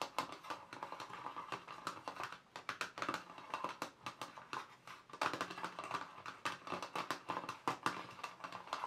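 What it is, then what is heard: Plastic watercolour paint box. Fingertips and nails tap rapidly across the lid of a small, black, glossy plastic watercolour paint box, which is hollow and closed. The taps are quick, dry, and clicky, with a hollow ring around 1.2 kHz that dies away almost at once. The rhythm is brisk and uneven, with a short softer stretch in the middle.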